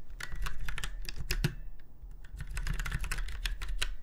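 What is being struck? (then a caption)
Mechanical keyboard with round keycaps. Fingertips of both hands type on a retro, typewriter-style mechanical keyboard with round white keycaps set in chrome-look rings on a silver frame. A steady stream of sharp, bright clacks rides over a low thump, with a brief quieter lull in the middle before the fast typing picks back up.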